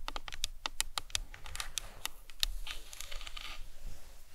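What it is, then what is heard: Plastic skull model tapped with nails. Long nails tap and scratch the cranium of a hollow plastic anatomical skull model. Crisp, dry clicks come in a quick uneven run with a bright edge and almost no ring. A softer, hissy scratching fills the gaps in the second half over a faint low rumble.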